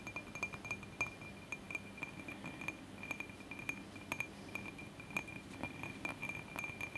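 Fingers tap quickly and repeatedly on a glass candle holder, making a steady stream of clear, bright glass clinks. Each tap rings briefly around 2.4 kHz and dies away fast, over a soft low rustle.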